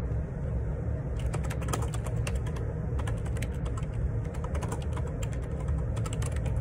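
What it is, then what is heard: Plastic computer keyboard being typed on. Fingertips type continuously on a black Perixx Periboard 612 wireless Bluetooth ergonomic split keyboard, with a hollow plastic body and plastic keycaps. Quick, bright plastic key clicks and taps patter over a steady low rumble, giving a soft, even clatter throughout.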